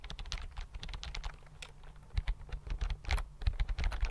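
Fingertips type quickly on a slim white plastic computer keyboard held close to the mic. A dense run of soft, clicky keystrokes carries a low thumping body beneath bright tapping tops, with a few louder strikes toward the end.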